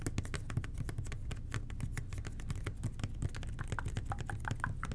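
Fingertips of both hands tap a red and white plastic toilet cleaner bottle with a blue nozzle, producing a steady stream of quick, soft, hollow plastic taps. Each tap has a low thud and a brief bright click, and the taps vary in speed throughout.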